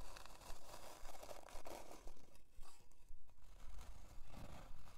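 Long dark almond-shaped nails scratch a thin, flat, light plywood heart-shaped hanging decoration with a jute twine loop, lying on white faux fur. The result is soft, dry scraping strokes repeating in a steady rhythm of roughly two per second, each fading almost instantly.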